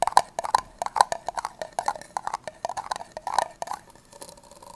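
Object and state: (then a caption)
Plastic party cup tapped with fingernails. Long nails tap and scratch the side and base of an empty, hollow red plastic party cup held sideways. Quick, dry, hollow clicks with a midrange knock and bright edges come in an uneven patter, each dying away almost instantly. Near the end they thin out into softer scratching.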